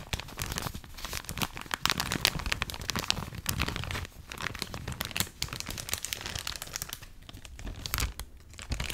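A full clear plastic bag of cotton rounds is held up close while long acrylic nails scratch, squeeze and crinkle the plastic. The result is a dense, continuous run of sharp, bright crinkling and crackling with quick scratchy bursts and soft low rustling underneath.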